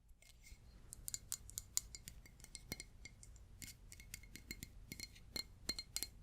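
A glass object is tapped repeatedly in a quick, irregular series of light clinks. Each tap is bright and sharp, dying away almost instantly over a faint, low background hum.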